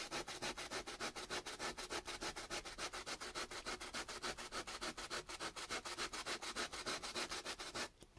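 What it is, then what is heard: Raw potato piece scrubbed on sandpaper. A small, solid chunk of raw potato, held in the fingertips, is scrubbed rapidly back and forth on sandpaper. Steady, bright, gritty rasping strokes repeat at an even pace and stop just before the end. The scrubbing leaves grated potato pulp and liquid behind.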